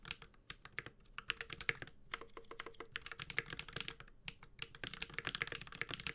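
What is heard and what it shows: A Space65 Cybervoyager 65% mechanical keyboard, with a white-gold aluminum case, carbon fiber plate, plastic keycaps and tactile Holy Panda switches, is typed on steadily with the fingertips of both hands. It makes a fast, continuous run of short, bright clacks and taps that die away almost instantly, over a faint low thump, with a brief pause near the two-second mark.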